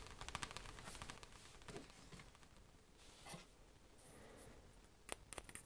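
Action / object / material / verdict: tap / paper booklet / paper / none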